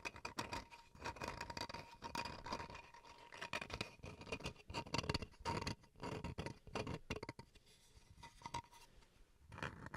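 Fingernails scratch across the face and edge of a small, flat, solid wooden chopping board. Quick, dry scratches and light taps come in dense bursts, with a bright, gritty texture and a faint steady tone running underneath. Short pauses separate the bursts of scratching.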